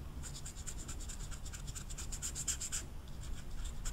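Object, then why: Felt-tip marker on velvet-flocked paper poster. An orange felt-tip marker is scratched and rubbed over the velvet surface of a small rectangular velvet-flocked paper poster, with the card held down by long red nails. A steady run of quick, bright, dry scratchy strokes sits over a soft low rumble. The strokes grow sharpest and loudest near the middle before easing into lighter rubbing.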